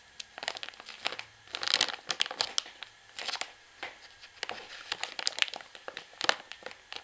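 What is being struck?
Plastic pouch of washing powder.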